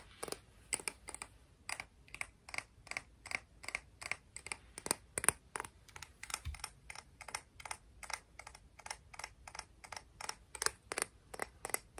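A clam shell from the beach is tapped and scratched, giving a steady run of sharp, dry clicks with bright, high-pitched edges. Each tap stops almost instantly, and the sound stays quiet and close throughout.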